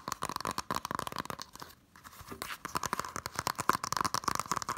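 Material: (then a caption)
Cardboard, plastic. Fingertips and nails tap and scratch quickly across the front and then the back of a Totoro Blu-ray case in a green printed cardboard slipcover, a small, flat, hollow case. Dry, clicky taps mix with papery scratching in a dense, rapid patter, with a faint midrange ring under it. The tapping pauses briefly partway through.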